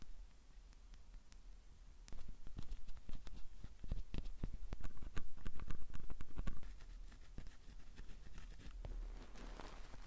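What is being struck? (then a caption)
Metal microphone capsule grille, wooden stick. A thin wooden stick held between the fingers scratches and taps the metal grilles of a stereo recorder's two mic capsules. Sharp, dry clicks come about four per second in an uneven rhythm over a low rumble and soft scratching. The taps grow louder and denser from about 2 to 6.5 seconds, then ease back to lighter scraping.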